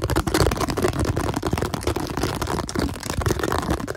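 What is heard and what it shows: A hollow, apparently empty translucent blue plastic container is tapped and scratched quickly with fingertips and nails. The result is a dense, continuous run of rapid, dull tapping with a hollow, low thump beneath scratchy, clicking texture. The clip has little brightness and short, dry decays.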